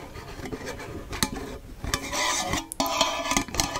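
Fingertips and nails rub, scratch and tap the lid rim of a hollow cylindrical metal tea tin with a paper label and a metal lid, held in the hand. Steady raspy scraping mixes with sharp metallic taps that ring briefly in a bright tone around 1 kHz, with most of the energy high and little low end.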